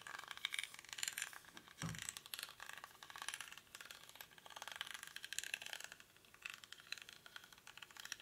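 Fingernails scratch the weave of a small, hollow woven rattan or reed basket held in both hands, its contents not visible. The result is a steady, dense crackle of bright, dry scratching and rapid ticking, with a brief duller, fuller rub just before two seconds.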